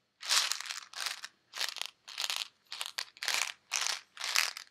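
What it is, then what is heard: Plastic pill bottle with tablets. A white plastic Advil bottle with pills inside is shaken and handled by fingers with nails. The result is about eight short bursts of bright, high, dry rattling and crunching, each separated by brief silences.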